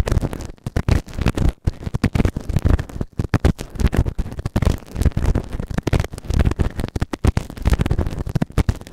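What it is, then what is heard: Silicone ear microphone being scraped. A white plastic ear tool held in fingertips scrapes inside the canal of the right ear of a grey silicone ear-shaped microphone on a round base, which is soft and solid. The result is a continuous run of close, crackly scratching and rustling bursts, heavy in low, muffled rumble with little brightness.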